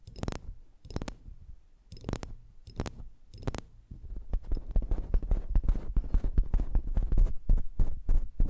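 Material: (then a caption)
Metal. Long manicured nails and fingertips tap and click on the metal caps and hollow cylindrical bodies of two identical slim silver metal microphones with grilles, set up as a stereo pair. A few slow, spaced taps give dull, low thumps with short bright clicks on top. After about four seconds, a louder, dense flurry of rapid, uneven tapping and clicking follows.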